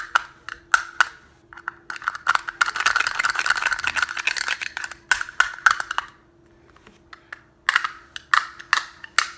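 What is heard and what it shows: Fingertips tap and click on a small, hollow teal-and-green plastic snap case, which may rattle slightly. Sharp, dry, bright clicks come in scattered bursts, with a dense flurry of rapid tapping in the middle and a brief quiet gap before the last clicks. A faint steady low hum runs underneath throughout.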